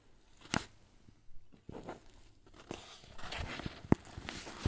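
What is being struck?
Paper bag filled with flour.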